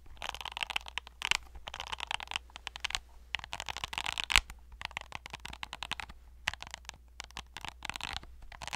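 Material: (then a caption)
Plastic. Fingernails scratch and tap the ridged and silicone faces of a hand-sized hollow plastic fidget cube with silicone buttons, held close to the mic. Dense bursts of bright, crackly scratching mix with quick sharp taps that stop dead, and one tap stands out louder near the middle. A faint low hum runs steadily underneath.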